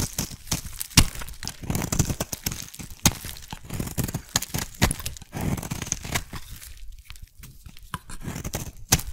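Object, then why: Bar of soap scraped with a metal blade. A metal blade shaves thin layers off a solid blue oval soap bar, carving and scraping it. The result is a steady stream of crisp, crunchy scraping with sharp ticks and bright hiss over soft low thuds.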